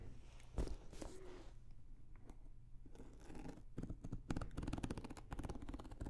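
A small blue starry-print hard-shell zippered carrying case, an EVA shell with a fabric cover, hollow and closed, is held close and tapped and scratched with long nails. Soft, hollow low thuds mix with dry, brushing scratch bursts and quick clicky taps that grow denser toward the end, all at a quiet, intimate level.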